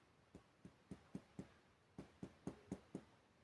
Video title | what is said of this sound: examen físico abdominal | se escucha un sonido mucho más claro como mucho más hueco